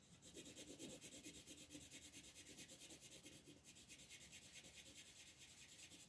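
A green wooden colored pencil is rubbed firmly in repeated shading strokes across a flat, thin paper coloring book page resting on a table. The result is a steady, rhythmic scratchy rasp, bright and hissy, with a faint softer body underneath as each quick back-and-forth stroke pulses evenly in loudness.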